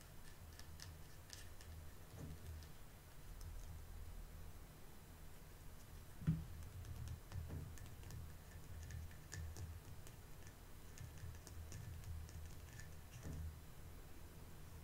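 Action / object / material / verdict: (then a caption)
tap / small vinyl toy figure / vinyl / none. A small solid vinyl mini figure held in the palm is tapped with long painted nails, giving quiet, short, dull ticks over a steady low hum. One tap near the middle stands out louder than the rest.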